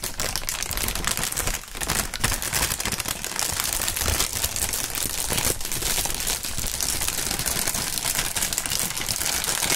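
Clear polyethylene air-pillow packaging film is held in both gloved hands and crinkled with the fingertips. A steady, dense crackling and crinkling runs throughout, bright and rustling, with a brief dip in loudness near the start.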